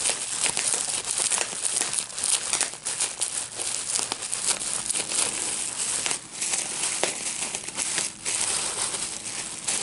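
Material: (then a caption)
Plastic. A clear plastic bubble wrap sheet with small air-filled bubbles is held in both hands while fingertips pinch and pop the bubbles. Steady, bright crinkling and crackling runs throughout, broken by sharp little pops that die away almost instantly, with almost no low end.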